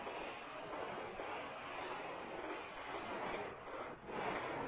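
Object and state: Wet woven rug being scrubbed.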